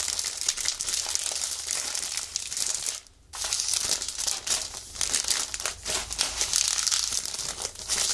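Fingers press and flex the clear plastic wrapper of a plastic-sealed magazine held in both hands, crinkling it. The result is a dense, bright, continuous crackle with almost no low end, broken by a brief near-silent pause around the three-second mark before the crinkling resumes.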